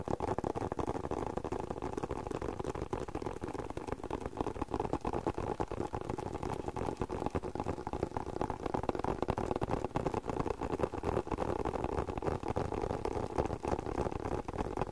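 Fingertips tap and scratch a hollow black leather glasses case held close to the microphone. The result is a steady, fast, slightly irregular patter of soft, dull taps mixed with faint scratching, muffled and low-to-mid in tone, with no ring after each touch.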